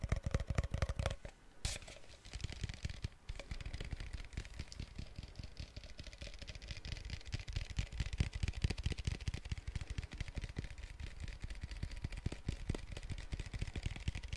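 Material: Plastic.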